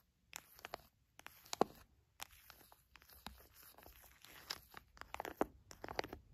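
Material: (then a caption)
Plastic. An orange plastic squeeze pouch filled with raw honey, soft and full, is pressed, tapped and scratched by fingertips and long nails. Bursts of bright crinkling and crunching from the plastic are broken up by short silences, with sharp clicks from the nails.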